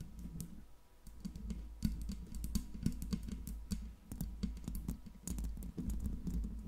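Long pink nails tap quickly and unevenly on the metal body and mesh grille of a silver Blue Yeti microphone. The taps come out as dry, clicky ticks with bright, brief edges that die away almost at once, over a steady low hum.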